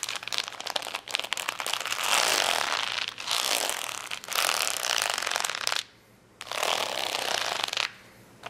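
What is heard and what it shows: Long nails scratch and tap the gems on a flat plastic rhinestone sticker sheet lying on a towel. Bright, crackling, rapid scraping comes in dense bursts separated by short pauses, with a longer near-silent gap past the middle before the scratching resumes.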